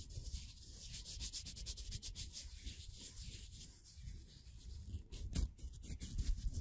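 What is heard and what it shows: Fingertips hold a small, thin, solid laser-cut plywood figure made of layers, rubbing and bending the wooden layers. The result is a steady, soft, dry rubbing and scraping over a low rumble, with quick bright crackles that grow louder toward the end.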